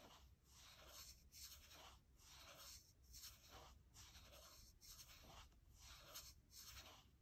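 Long nails scratch and rub the aluminium palm rest of a gold MacBook Air, just to the right of the trackpad. The result is a quiet, bright, hissy scraping that swells and fades in repeated, loosely timed strokes over a faint low hum.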